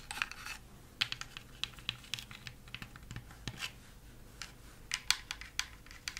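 A laser-cut, light wooden Christmas village house ornament with lit windows and thin flat panels is tapped and scratched with long, flat-tipped acrylic nails. The result is a quick, irregular run of crisp, bright clicks that die away almost instantly, with dry scratchy rasps between them and very little low end.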